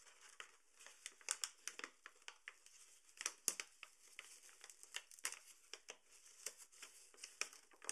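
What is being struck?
Paper flour bag.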